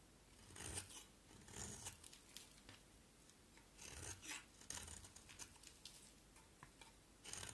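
A box cutter blade shaves a round, solid, red striped bar of soap held in the hand. Soft, flaky scraping strokes come in uneven bursts, bright and hissy with a little low rustle underneath. Each stroke fades almost at once.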